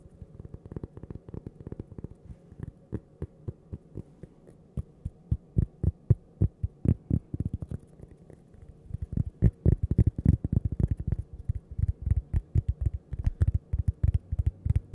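A thin, solid, toast-shaped cork coaster is tapped and scratched with long purple nails close to the mic. It makes quick, irregular, dull low thuds with almost no ring, broken by light scratching. The taps pause briefly around the middle, then return faster and denser.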